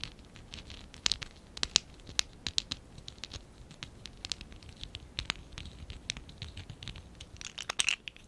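A small stack of hollow lilac and dark blue ABS plastic Lego Classic 11017 bricks is held in both hands while fingertips and nails rub and scratch their sides. The result is quiet, bright, dry scratching with many sharp ticks and clicks scattered throughout, almost no low end, and no ring after each tick.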